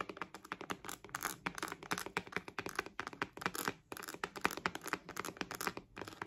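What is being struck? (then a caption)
Synthetic leather wallet. A purple glossy croc-embossed synthetic patent faux-leather wallet with a metal logo is tapped and scratched across its front by long nails. The result is a rapid, dense run of crisp clicky taps mixed with brief scratchy rasps, with very short decay and little low end.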